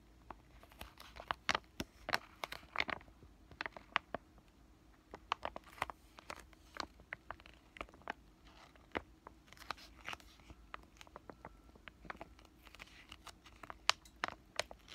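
A flat, thin, green printed laminated foil-plastic sheet mask sachet is held in both hands and crinkled and tapped with fingertips and short nails. Quiet, dry, bright crinkles and sharp little taps come in irregular bursts throughout, each cutting off almost instantly with no ring.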